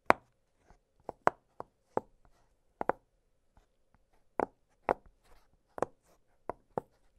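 Fingertips push the bubbles of an octagonal blue silicone pop-it fidget toy, producing a series of short, dry pops with a mid-range tone around 680 Hz. The pops come at an uneven pace, some louder and sharper than others, each ending almost instantly with no ring.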